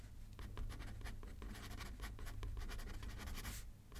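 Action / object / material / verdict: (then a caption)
scrape / paper card on a paper pad / paper / none. A pen scratches across a thin paper card resting on a paper pad as it is written on left-handed. Quick, rapid strokes produce bright, dry scratching over a steady low rumble, ending with a short quieter pause.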